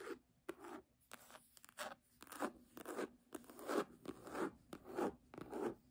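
Fingertips and long nails scratch and tap the cover of a red, embossed faux-leather hardcover book lying flat. The result is an irregular series of soft, dry scratching strokes and light taps in the midrange, with quiet pauses between them.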